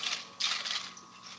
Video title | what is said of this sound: Gabrielle’s Kitchen is live! Make breakfast with me! | look how crispy, and you can hear it too